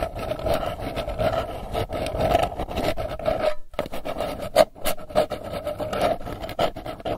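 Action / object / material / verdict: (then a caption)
scrape / metal candy tin lid / metal / none. Long nails scratch and tap the lid face of a round, hollow, printed metal candy tin held in both hands. Dense, raspy scratching runs throughout, with a steady metallic ring around 600 Hz and sharper taps poking out. The sound briefly drops out just before the four-second mark.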